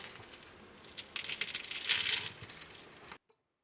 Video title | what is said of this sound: Better Than Baklava Try This Irresistible Turkish Dessert Baklava Lovers You Need to Try Dessert | avez-vous entendu ce son à quel point ça sonne croustillant